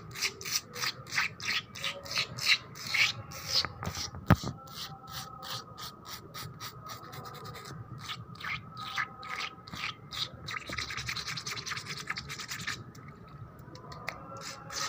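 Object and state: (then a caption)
Wet concrete floor being scratched. Long black nails scratch and rub fast and hard across a flat, solid, wet painted concrete floor. Rapid bright rasping strokes repeat in quick bursts, with squeaky rubbing tones underneath and one sharp click partway through. The strokes then run together into a steadier, denser scraping.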